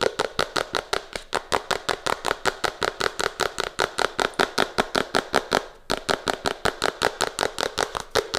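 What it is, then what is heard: Cardboard phone box. A small, hollow Redmi smartphone box made of printed cardboard with a red-to-purple gradient is held in the hands and tapped and scratched with long fingernails and fingertips. The result is a rapid, steady run of about 44 crisp, dry taps with a bright, papery edge and no ring, pausing briefly near the end before resuming.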